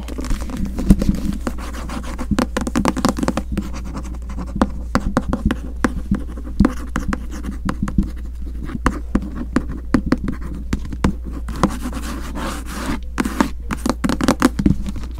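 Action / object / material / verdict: scrape / paperback book with glossy paper cover / paper / none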